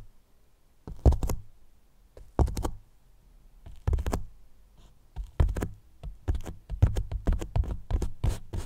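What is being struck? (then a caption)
Polyethylene foam box. Fingertips and a flat hand tap and rub the surface of a large white hollow polyethylene foam block box with a microphone inside. The result is deep, muffled thumps with brief scratchy brushing, coming in short clustered bursts that grow quicker and denser toward the end. Each tap dies away almost instantly, leaving a soft, boomy low-end sound.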